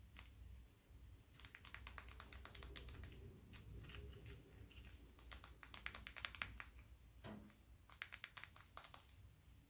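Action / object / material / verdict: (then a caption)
tap / smartphone with glass screen / glass / none. A small dark smartphone with a glass screen, held in the palm, is tapped with fingertips and short nails. Quick, dry, clicky taps come in rapid bursts with brief pauses, each tap bright and dying away almost instantly over a quiet low rumble.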